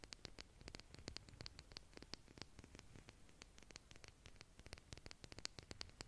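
Long, pointed purple nails tap and scratch along a large white plastic makeup brush handle with a metal ferrule and soft bristles, held in both hands. The result is a quiet, steady stream of rapid, crisp clicks with a bright, tinny edge, each dying away at once. A soft low rumble and faint scratchy hiss run underneath.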